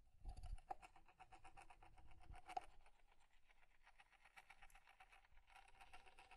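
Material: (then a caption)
Wood. A small, square, light-wood alarm clock with a solid wooden body is held in both hands while fingertips and nails tap and scratch its face, back and sides. The result is a quiet, steady stream of rapid, dry wooden taps and scratches with a soft low thump early on and a faint ringing tone around 740 Hz.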